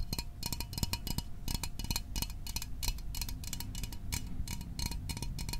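A small, hollow metal Fanta orange soda can is held in the hands and tapped quickly with fingertips and fingernails. The result is a steady run of short, dry metallic ticks with bright high clicks over a dull low body resonance, each tap dying away almost at once.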